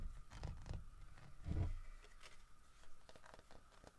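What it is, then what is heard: Carved wooden bear statue. Fingertips tap and scratch the carved fur texture of a large, solid carved wooden bear statue holding a fish. Soft, dull low thuds mix with dry scratching, and the heaviest tap lands near the middle. A faint steady hum runs underneath throughout.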